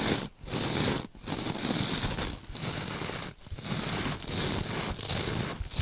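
Long nails scratch across the textured surface of a rectangular, glittery mesh-covered scrub sponge and squeeze it; the sponge is soft and compressible and held in both gloved hands. The result is a dense, crackly, rustling scrape with a bright edge, coming in sustained bursts broken by brief quiet gaps.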